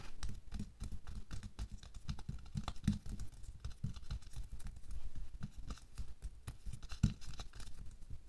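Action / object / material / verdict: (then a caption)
tap / thin latex glove on a hand / latex / none. Bare fingertips and nails quickly scratch and tap over a thin pink latex or nitrile glove worn on a hand lying flat on a white table. The result is a dense, irregular patter of soft, muffled, low-pitched taps and rubbing scratches, with a couple of sharper, louder taps standing out.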